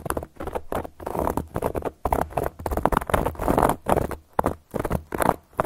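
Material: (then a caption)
Cork. Long gold metal claw nail caps scratch and tap across a solid, round, flat cork board. The result is bursts of dry, dense, scratchy patter with a muffled mid-range body and very little brightness, separated by short pauses.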